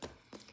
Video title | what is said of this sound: Cleaning the Speedy | I can tell instantly that the hardware on my vintage bag it's metal